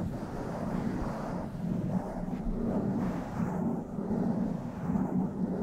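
A hand holds the side of a blue foam microphone windscreen while long nails scratch and stroke its foam surface. The result is a steady, muffled scratching rumble that is heavy in the lows and has almost no high end.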